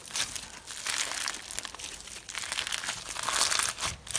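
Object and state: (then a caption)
Slime with fishbowl beads. Clear pink slime full of plastic fishbowl beads is held in the hands and stretched, folded and squeezed with the fingers. It gives a continuous bright crackling and crunching with almost no low end, swelling and fading in uneven bursts.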